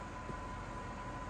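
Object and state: Nothing is struck.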